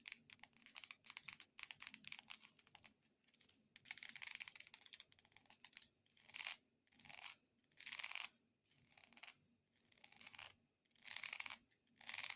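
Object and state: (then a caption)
Decorative corn cob tapped and scratched with nails. A multicolored decorative corn cob is tapped and scratched with long nails. Rapid, dry, bright clicks blend into hissy scratching bursts that come in short runs with brief pauses between them, all quiet and high-pitched with almost no low end.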